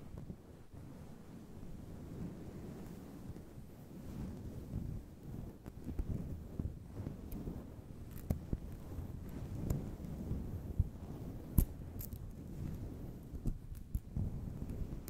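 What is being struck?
Faux fur microphone windscreen.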